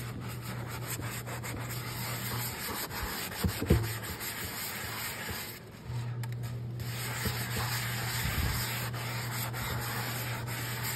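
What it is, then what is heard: Cast iron skillet being scrubbed. A hand scrubs a large, round, empty black cast iron skillet covered in soap foam, working a yellow sponge in circular rubbing strokes over its flat solid surface. The scrubbing makes a steady, hissing, broadband rubbing noise over a low hum, with a few louder scrapes and a brief quieter pause midway.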